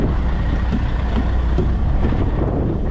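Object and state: Nothing is struck.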